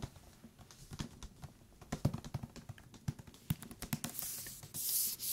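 A thick paper book is tapped with the fingertips on its cover and along its edges, producing a quiet run of short, dry, low thuds with faint papery clicks. The top and bottom edges sound different despite the same thickness and material. Near the end, a bright, steady rustling hiss rises over the taps.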